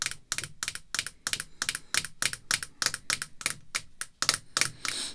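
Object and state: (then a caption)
Acrylic card holder tapped with fingernails. Long red fingernails tap on a thick, clear acrylic screw-down holder containing a baseball card, resting on black cloth. They make a quick, uneven run of short, bright, dry clicks with almost no ring. The taps come in clustered bursts, sounding crisp and typewriter-like.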